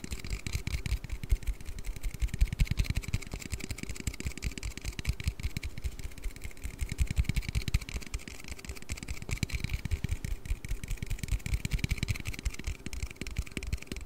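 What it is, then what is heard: Aluminium drink can. An aluminium Red Bull energy-drink can is tapped and handled with rapid, irregular taps that run steadily throughout. The taps are dull and low, with almost no ring, over a faint bright hiss in the background.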